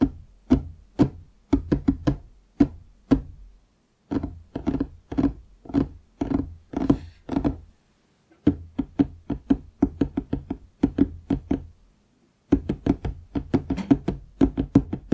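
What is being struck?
Wooden desk top.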